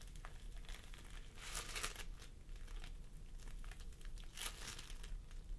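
Fingertips of both hands press and squish a pastel mound of floam sculpting foam made of polystyrene beads resting on a wooden table. The result is a steady stream of soft, crinkly, sticky crackling with brighter, louder bursts around the second and fourth-and-a-half-second marks, all over a constant low rumble.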